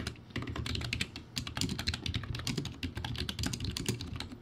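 Fast fingertip typing on a crappy plastic typewriter-style backlit keyboard with round white plastic keycaps. A rapid, uneven stream of bright plastic clicks rides over low, hollow thumps. Each keystroke dies away almost instantly.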